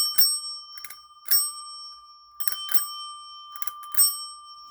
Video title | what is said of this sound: Wonder what cool items I will find today? Death Pile Diaries | so it's got a good ring to it